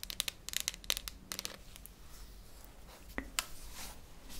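A small hollow cylindrical tin can with a red plastic lid, held close in both hands, is tapped and scratched with long nails. Sharp, bright clicks and scratchy rasps come in a dense burst over the first second and a half, then a quieter stretch of light scratching with a few isolated taps near the end.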